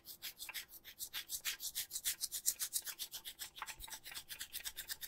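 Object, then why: Adhesive paper lint roller with plastic handle. A lint roller with a blue plastic handle and a white sticky paper roll is held close while a palm and fingers rub and pat across the adhesive surface. The result is a quick, uneven run of short, soft sticky rubbing and peeling bursts, bright and hissy with almost no low end.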